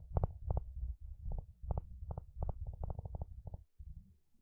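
A wooden spatula strums and scratches across the long, wide teeth of a blue plastic comb. It makes a quick, uneven run of short rattling bursts over a low, rumbling bed. Each burst ends almost at once, and the clip trails off into quieter scraping.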